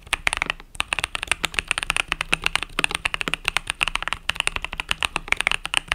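Fingertips type rapidly on the plastic keys of a compact mechanical keyboard with pastel purple-yellow keycaps. The result is a steady stream of short, bright clicks and clacks that stop almost instantly, with little low-end weight and one brief pause near the start.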